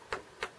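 A mature bamboo culm is struck twice, giving two short, clear knocks with a bright ring centered near 430 Hz that fades quickly. The clear ringing tone marks the bamboo as old and mature.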